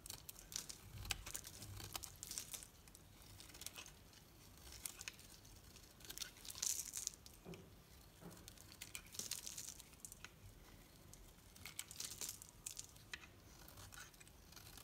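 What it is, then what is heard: Soap bar being shaved. A knife blade shaves curls from a solid green Dalan soap bar held in the hand. The result is quiet, bright, crisp scraping and crinkly tearing in a steady run of short bursts, with a few louder swells throughout.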